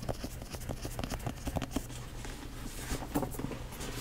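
Long nails tap and scratch the top and front of a hollow black quilted leather Michael Kors mini backpack resting in front of the mic. Soft, quick taps and scratchy rustles run steadily throughout, with a dull, low hollow thud under each tap.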